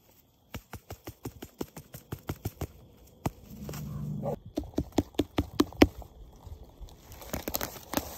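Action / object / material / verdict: tap / wild mushroom / fungus / none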